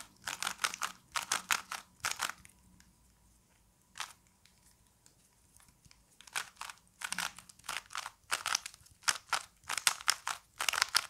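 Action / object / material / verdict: scrape / plastic puzzle cube / plastic / none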